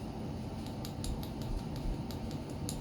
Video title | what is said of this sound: D.I.Y hand tied jigs and techniques | it's nice and hard it's not going nowhere